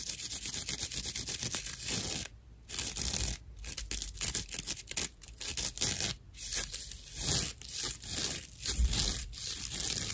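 A hand-sized slice of dried natural loofah fiber is scratched with long nails. The result is a series of rough, dry, bright scratching and rasping strokes, mostly in quick bursts with a few short pauses between them.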